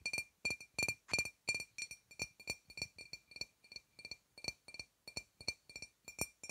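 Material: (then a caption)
Glass. Long red-painted fingernails tap a sealed, apparently full dark glass wine bottle with a paper label, held upright close to a clip-on microphone. About 28 quick, bright clinks come in an uneven rhythm, each ringing near 2.4 kHz with high overtones and dying away almost at once.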